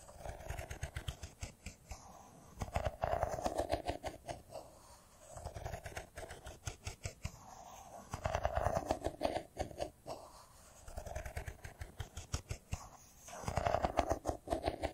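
Fingernails quickly tap the edges of a solid, hand-sized silver smartphone with a metal-and-glass body, held in both hands. The dry, clicky taps come in rapid bursts with short pauses between them, with a hollow resonance around 690 Hz and soft low thumps underneath. Each tap dies away almost instantly.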